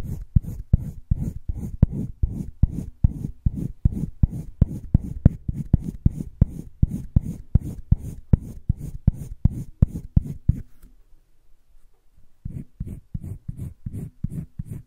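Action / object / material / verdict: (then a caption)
scrape / wooden colored pencil on sketchbook paper / paper / none. A yellow wooden colored pencil shades the upper right of a heart on a flat page of a spiral-bound paper sketchbook, scratching and rubbing in quick, steady back-and-forth strokes. The strokes are low and dry with a faint bright edge. They pause for about two seconds near the end, then resume.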